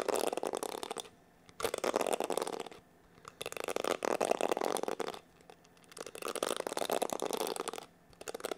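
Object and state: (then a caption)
Plastic paddle hair brush. Fingertips scratch and flick across the dense plastic bristles of a black plastic paddle hair brush. Dry, rapid crackling comes in sustained bursts, centered in the midrange with bright edges. The bursts are separated by short silent pauses.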